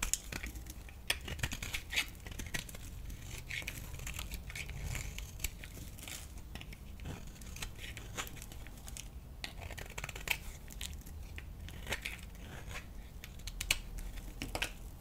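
A thinned solid green bar soap held flat in the palm is scraped with a metal blade. Many quick, dry scraping crackles give bright, crisp rasps over a low rumble that runs throughout.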